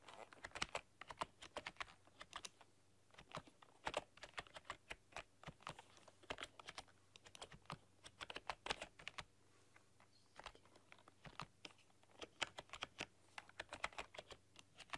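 Long dark-polished nails and fingertips type on a full-size plastic computer keyboard with black keycaps and a rainbow backlight, pressing and clicking the keys. Quick, sharp, bright clicks and taps come in uneven bursts and pauses over a faint steady low hum.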